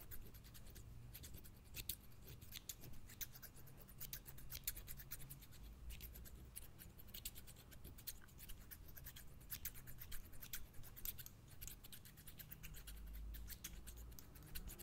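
Medium-size steel scissors with green plastic handles are held in one hand in front of a microphone, their blades snipped and scraped open and closed over and over. The result is a steady stream of quiet, crisp, bright snipping and scraping clicks over a low rumble.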